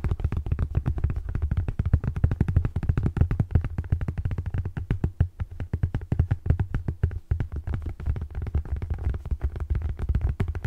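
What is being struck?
Paper paperback book.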